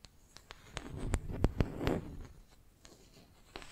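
Long nails scratch and tap the surface of a flat, solid wooden makeup brush handle held in one hand. About ten short, dry scratching clicks land in an uneven rhythm, with a denser, louder rasping stretch in the middle. Each sound stops almost at once with no ring.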